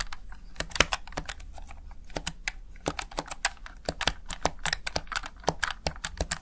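Fingertips rapidly press and tap the backlit keys of a plastic Razer Tartarus Chroma gaming keypad, seen up close from the side. The result is a steady stream of short, dry plastic clicks with bright attacks and almost no ring, set over a low background hum.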